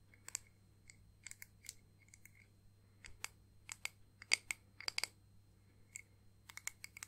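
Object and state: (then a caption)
Clear acrylic disc ornament. Long painted nails tap a small, flat, solid clear acrylic disc ornament with pressed flowers and "Nana" lettering. About twenty sharp, bright clicks come in an irregular run, each dying away almost instantly with no ring. A faint low hum sits underneath.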